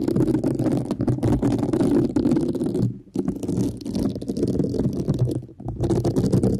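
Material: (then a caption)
Synthetic fibre. A thin black brush-tipped stick scratches and pokes across the textured surface of a flat, thin, solid pink woven synthetic scouring pad held in one hand. The result is a dense, continuous scratchy rustle with rapid crackling ticks, strongest in the low-mid range with little high-end. The sound briefly drops out around the three-second mark and again near five and a half seconds.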